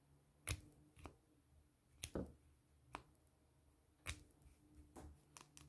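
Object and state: Plastic pen tapped with fingernails.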